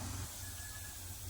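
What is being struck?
Nothing is struck.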